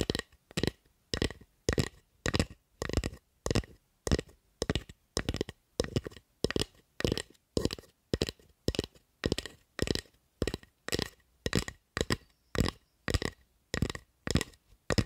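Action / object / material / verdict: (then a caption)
tap / wooden spatula / wood / none. Long acrylic nails tap and scratch the blade and handle of a solid, light wooden spatula held in front of the mic. The result is a steady run of short, dry clicking and scraping bursts, each a quick cluster of crisp taps with a bright edge and a low thump, with brief silences in between.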